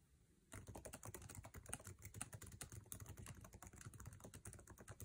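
Fingertips of both hands type fast on the backlit low-profile scissor-switch keyboard with plastic keycaps of an aluminum MacBook Air resting on a table. After a half-second of near silence, a dense, rapid stream of short tapping clicks begins, each tap a dull low thud with a bright tick that dies almost instantly. The clicks continue unbroken to the end.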